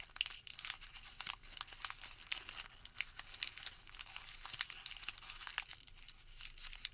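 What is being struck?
Thermal paper receipt.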